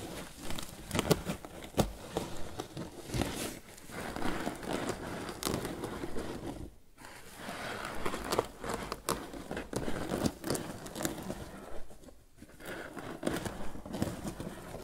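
Fingertips scratch and rub the lid of a grey crocheted twine lidded basket resting on a wooden table. The result is a steady run of soft, dry rustling and crinkling scrapes, mostly low in tone, with brief quieter pauses near 7 and 12 seconds.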